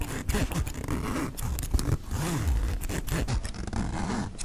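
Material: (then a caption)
Nylon. Fingertips pull the metal-pull zipper on the front pocket of a black mesh nylon backpack back and forth. The result is a continuous series of rasping zip strokes, each with a quick rising and falling buzz, heavy in low rumble with little brightness, and each stroke cuts off almost at once.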